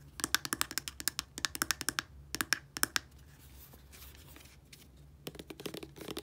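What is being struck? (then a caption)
Small plastic squeeze tube of body wash. Long polished nails tap and scratch along a small, dark, hollow 60 ml plastic squeeze tube of body wash with a blue plastic cap, still filled. About 28 quick, bright, dry clicks come in fast bursts with no ring, separated by a quieter stretch of soft scratching. A final cluster of taps closes the clip.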